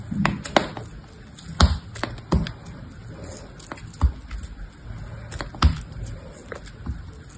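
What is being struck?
Soap block.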